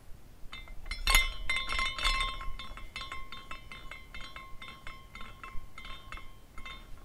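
A small clear glass carousel ornament is spun by the fingertips at the top, and its glass horses tinkle against each other. Bright, quick clinks come in an uneven stream, strongest near the start, with a steady ringing tone around 2 kHz and short decays over a soft low background.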